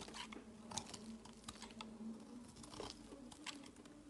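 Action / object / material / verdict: scrape / soap bar scraped with a knife blade / soap / none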